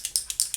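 A tube of raspberry LipSense liquid lipstick is shaken before applying so the ball inside mixes up the colors. Five quick, bright, high-pitched clicks are heard as the ball rattles against the tube, each dying away almost at once.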